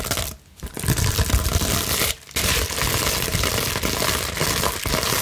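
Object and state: Plastic bubble wrap being scratched.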